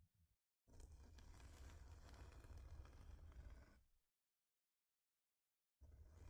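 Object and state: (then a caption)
Wooden heart plaque scratched with nails. Long nails scratch near the top of a thin, flat, solid wooden heart-shaped plaque, making a steady, dense rasping with a strong low rumble beneath it. The scratching runs for about three seconds, stops into silence, then starts again at the end.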